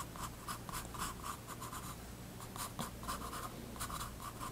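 A graphite pencil draws light line strokes on a page of a spiral-bound paper sketchbook resting on a wooden desk. Short, soft, dry scratching strokes repeat in quick bursts, each carrying a papery rasp around 1 kHz with bright, airy edges over a faint steady low hum.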